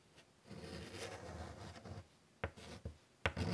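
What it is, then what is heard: Chalk on a wood-framed chalkboard. White chalk scratches lines across a large, flat, wood-framed chalkboard in a steady, low, dry drawing stroke lasting about a second and a half. Three sharp chalk taps follow, with short scratches between them.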